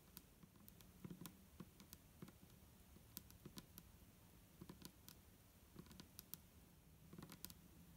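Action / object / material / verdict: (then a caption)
tap / plastic bottle with liquid / plastic / none. Long nails of both hands tap quickly on the sides of an upright, hollow, clear plastic micellar water bottle with a green cap and liquid inside. The result is a quiet, uneven patter of short, dry clicks with bright high ticks over a soft, low hollow knock, each tap dying away almost instantly.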